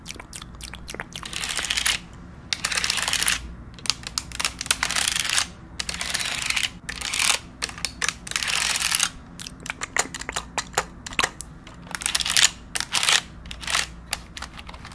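Long acrylic nails tap and type on the round plastic keycaps of a pink wireless keyboard held upright next to the microphone. Bursts of rapid, bright, crisp clicks come in dense clusters separated by short quiet gaps, each click dying away almost at once.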